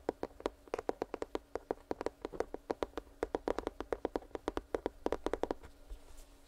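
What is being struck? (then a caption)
Cardboard box. Fingertips tap quickly and irregularly on a cardboard headphone retail box, making dry, hollow knocks that die away almost at once. The taps are clearly separated, about 37 in all, with a mid-range woody tone and little high or low content. They stop about a second before the end, leaving a faint background hiss.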